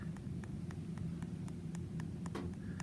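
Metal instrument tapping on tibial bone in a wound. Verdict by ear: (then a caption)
Exposed. An instrument taps repeatedly on a small area of exposed tibial bone in a granulating traumatic leg wound during a dressing change. Ten short, light ticks are heard over a steady low background hum. Bone exposure in the wound is a problem for healing.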